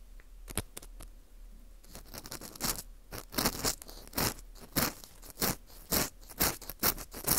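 A porous dried wheat gluten ring (fu), held in gloved hands, is scraped inside its hole with an orange plastic earpick. The result is a series of dry, crunchy scratching strokes, soft and sparse at first, then louder and more regular, with bright, airy texture.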